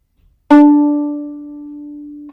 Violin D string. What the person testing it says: this one actually has got a really nice ring you see it expands